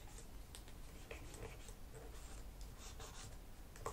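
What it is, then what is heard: Plastic laptop keyboard. A cotton swab is rubbed between the keys of a black plastic laptop keyboard while fingertips with long nails rest on the keys. Soft, quiet scratchy swishes with faint bright edges recur over a steady low background hum, ending in a slightly sharper brush.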